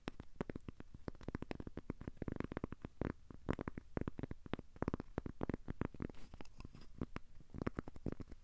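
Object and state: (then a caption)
Cork coaster scratched. A thin, solid, square cork coaster held in the hands is scratched with short fingernails. It makes a quick, uneven run of soft, dry scratching strokes that sound dull and low. Each stroke stops at once, with no ringing.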